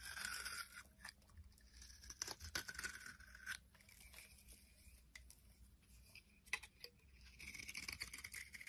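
A white soap bar held in the palm is scraped with a utility blade, giving soft, bright shaving and scratching strokes with crisp crackling flecks. The strokes run in uneven bursts, some rising to sharper scrapes, over a low, quiet background hum.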